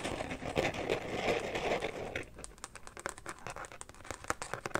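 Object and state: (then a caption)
Carbon-pattern plastic phone case. Fingernails scratch and tap the inner surface of an empty carbon fiber pattern phone case, then move to its woven back. A dense, continuous crinkly scratching fills the first two seconds, then gives way to quieter, sparse, sharp clicking taps with a bright edge.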